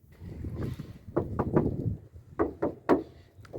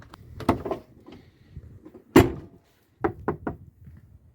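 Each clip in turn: First: untreated car door panel, hollow and vibrating. Second: sound-deadened car door panel, damped.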